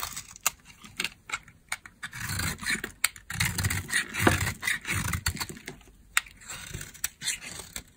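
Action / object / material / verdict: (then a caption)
scrape / soap bar scraped with a metal blade / soap / none. A metal blade carves and scrapes dry shavings off a thinner, solid peach soap bar held in the hand. Crisp, bright clicks and ticks are heard, with longer raspy scraping strokes in the middle of the clip.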